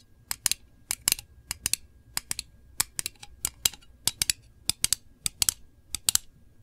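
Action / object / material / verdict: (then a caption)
tap / small round metal candle tin lid / thin metal / none. Long nails tap rapidly on the lid of a small, round, printed metal candle tin that is hollow. About 25 short, bright clicks come in quick pairs and clusters, each dying away almost instantly with very little low end.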